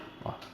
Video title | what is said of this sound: COMO FAZER BOLOS CASEIROS PERFEITOS NO LIQUIDIFICADOR, BOLOS PARA VENDER FÁCIL RÁPIDO GANHE DINHEIRO | vou dar essa batida olha como ele solta o meu bolo